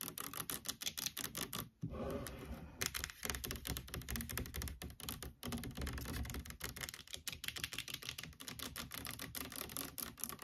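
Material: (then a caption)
Plastic. Long nails rapidly tap and scratch the back label and sides of a large orange plastic fabric conditioner bottle standing upright on a table. The result is a dense, continuous run of sharp, bright, dry clicks mixed with scratchy rustling, broken by a brief pause near the two-second mark.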